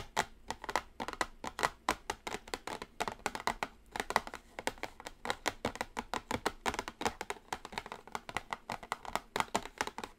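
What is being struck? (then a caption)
Cardboard makeup palette box. Long acrylic nails tap and scratch a small, flat, orange printed cardboard eyeshadow palette box resting on a table. They produce a steady, rapid stream of dozens of crisp, dry clicks with a papery midrange and a bright edge. Each tap stops almost instantly with no ring.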